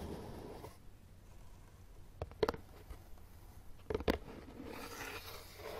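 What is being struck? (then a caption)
Corrugated cardboard box. Fingertips and nails tap and scratch the top and far side of a closed, hollow, empty brown corrugated cardboard box resting on carpet. Soft scratching rustle at the start and end surrounds two brief clusters of dull, hollow taps with a low thud and almost no ring.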